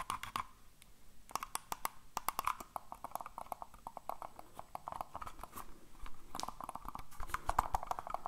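A black, hollow plastic computer mouse is held in the hands and tapped and clicked with fingertips. The result is a quick run of many sharp, dry clicks and taps with a hollow tone around 1 kHz. Each click dies away almost instantly, over a low rumbling background.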